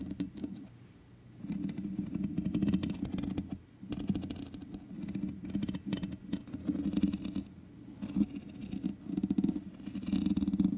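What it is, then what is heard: Metal mesh microphone grille. Long nails on both hands scratch the sides of the hollow metal mesh grille on a black microphone. The result is dense, rustling scratches and fine clicks over a strong low, boomy hum near 190 Hz, coming in bursts with brief quiet gaps.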